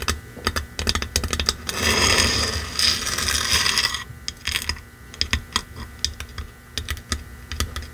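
A small red painted wooden box sign reading "It's beginning to look a lot like Christmas," hollow-backed and lying flat on black fur, is tapped and drummed with the long manicured nails and fingertips of both hands. Crisp, bright clicking taps come in quick, uneven bursts. In the middle they blur into a dense, rapid rattle of drumming before returning to scattered sharp taps.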